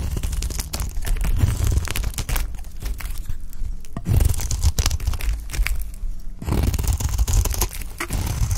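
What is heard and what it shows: A pale green solid bar of dry soap, held in the hand, is scraped and cut into flakes with a utility knife blade. Dense, dry crunching and tearing scrapes come in rapid bursts, with quieter pauses around the middle, and the sound is heavy in low thuds with short, crisp high edges.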